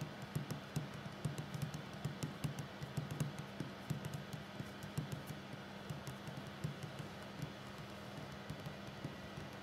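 The fingertips and short nails of both hands tap a solid wooden tabletop in a steady, uneven series of quick, dull knocks. Each tap dies away almost at once over a constant low hum, with faint bright clicks from the nails.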